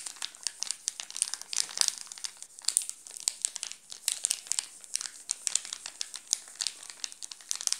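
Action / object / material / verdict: scrape / chocolate bar in plastic film wrapper / plastic film / none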